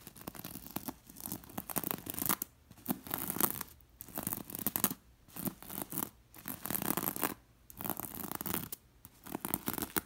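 A long nail traces and scratches along the red and gold glass bead lines of a beige linen throw pillow. Bursts of dry, gritty scratching with bright clicks from the beads come in strokes separated by short quiet gaps.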